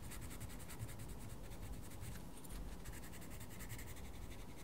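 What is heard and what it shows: A wooden coloured pencil colours in a mandala on a page of a small paper colouring book. It makes a soft, continuous scratching and rubbing sound with faint, rhythmic bright strokes over a low, quiet rumble.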